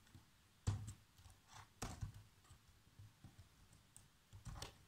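Bare fingertips with short nails tap the keys of a black plastic laptop keyboard in continuous typing. The quiet, irregularly spaced keystrokes sound as soft, low thuds with short, bright clicks on top, each dying away almost at once.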